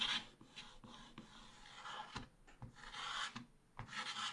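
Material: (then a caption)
Coated card. A wooden stick stylus scrapes across a black-coated scratch-art card page in a small spiral book, revealing the printed rooster and flowers beneath. The sound is a dry, bright, raspy scratching in uneven strokes with short pauses between them, and there is little low end.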